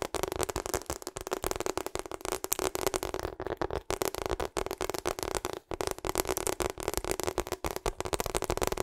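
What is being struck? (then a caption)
Rubber hot water bottle. A hollow pink and purple rubber hot water bottle, held close to the microphone, is tapped rapidly with long acrylic nails. The result is a steady, dense stream of short, crisp clicks over a hollow tone around 420 Hz, with a bright edge and very little ring after each tap.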